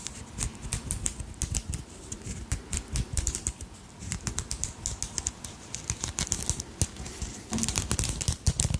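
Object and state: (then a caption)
Beaded crystal brooch. Long acrylic nails quickly tap and scratch a purple and pink beaded dragonfly brooch with a large crystal centre. The result is a rapid, uneven patter of sharp, dry clicks with bright ticking tops and soft low knocks, each dying away almost instantly. Brief scratchy stretches sit between the taps, with a short lull near the middle and a denser, louder flurry at the end.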